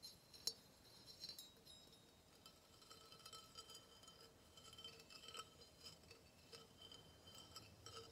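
A hollow engraved brass vase, about 15 cm tall, is tapped and scratched with fingernails. Quiet, bright metallic clinks with a high ring mix with soft scratching. One sharper tap stands out near the start, and lighter taps continue irregularly throughout.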